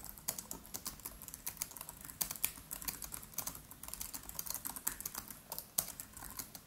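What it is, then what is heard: Laptop keyboard typing. Fingertips of both hands type rapidly on the black plastic keys of a MacBook Pro laptop with an aluminium body. The result is a steady stream of quick, bright, dry key clicks with almost no ring and little low end.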